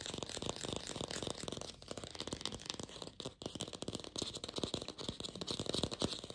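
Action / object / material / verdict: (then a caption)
tap / artificial apple, plastic / plastic / none. Long pink fingernails fast-tap a glossy red artificial apple with a stem, likely hollow plastic. A dense stream of quick, dry, bright clicks rattles on with almost no ring, briefly thinning out about halfway through before resuming just as fast.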